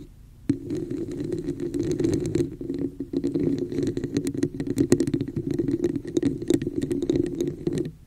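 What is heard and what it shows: Long nails tap and scratch the top and sides of a hollow, empty red plastic cup with a woven texture, held upside-down over the mic. After a brief quiet start, a dense run of quick clicking taps and scratchy strokes fills the rest of the clip, each with bright edges. A hollow, boomy resonance rings underneath throughout.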